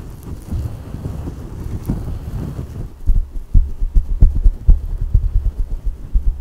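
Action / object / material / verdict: scrape / microfiber fabric pad / microfiber / none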